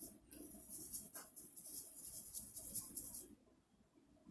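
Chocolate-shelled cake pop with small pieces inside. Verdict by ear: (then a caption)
Loose. A rattle-style cake pop with a chocolate candy-melt shell is shaken, and the loose pieces inside make a quiet, bright, irregular rattling for about three seconds before it stops. The rattle works as intended.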